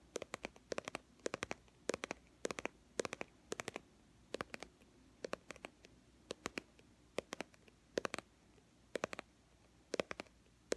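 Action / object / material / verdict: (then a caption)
tap / plastic cosmetic squeeze tube / plastic / none. Long manicured fingernails tap and scratch a small, hollow white-and-teal plastic BB cream squeeze tube, likely partly full, held in one hand. Quick bursts of sharp, dry clicks with a faint hollow tone around 550 Hz are separated by short pauses, each click dying away almost instantly over a quiet background.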